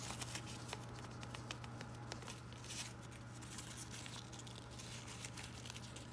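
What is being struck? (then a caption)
Fabric-plastic artificial ivy leaves on wire stems. Fingertips and nails pinch, rub and crinkle the thin leaves of variegated fabric-plastic artificial ivy on wire stems. The result is soft, continuous crinkling and rustling scattered with bright, sharp ticks, all over a steady low hum.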